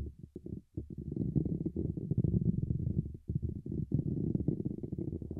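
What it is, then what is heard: Metal mesh microphone grille. Fingertips tap and rub the top of a handheld dynamic microphone's hollow, dark mesh grille cap fitted over its silver wire-mesh ball grille, directly on the recording mic. Separate dull, deep thumps at first give way to a dense, muffled run of low rumbling rubs and taps centered near 150 Hz, with almost nothing bright. The close contact makes every touch boom with heavy low-end, with no ring after each tap.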